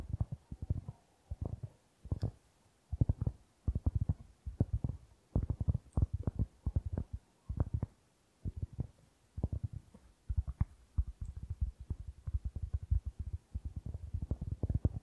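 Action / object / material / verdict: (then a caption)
tap / round flat cork board / cork / none. Fingertips and nails tap and scratch the surface of a round, flat, trivet-sized solid cork board held in both hands close to the microphone. Dense bursts of soft, low, muffled taps come in quick clusters separated by brief pauses, with almost no ring and little high-frequency content.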